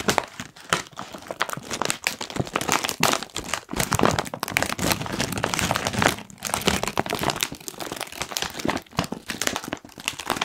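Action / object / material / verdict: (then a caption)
scrape / foil-lined plastic crisp packet / plastic / none. A medium-sized, foil-lined plastic Kettle crisps bag, puffed up and apparently sealed and full, is held in both hands and squeezed and crinkled with the fingertips. It gives off a dense, continuous stream of sharp, bright crackles and crinkles. The crackling swells and eases with a few short pauses.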